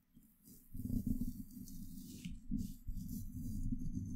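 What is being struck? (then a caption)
Woven steel mesh microphone grille. A small pointed paintbrush held in the fingertips brushes and strokes the rounded, hollow woven steel mesh grille on top of a silver USB microphone, with added sound processing. It makes a dense, low, scratchy rumble with a faint bright hiss above it, swelling and easing with each stroke and never falling silent.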